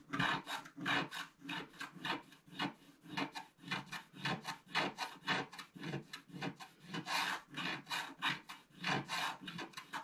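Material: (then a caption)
Coated paper. A wooden stylus scrapes long strokes through the black coating on the right side of a flat black-coated scratch-art paper sheet. The result is a steady series of dry, rasping scratches, each a short broadband swell with a bright, hissy top and little low end. The strokes come at an uneven pace of roughly one or two per second.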